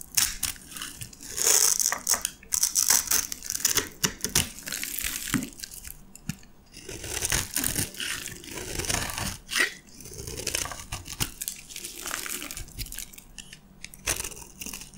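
A metal knife blade scrapes and cuts into a green and white striped solid bar of dry soap held in the hand, already partly crushed, as crumbs fall away. Dense, bright, crunchy scraping and crackling comes in uneven bursts, with short pauses between strokes. The sound is mostly high and hissy, with little low end.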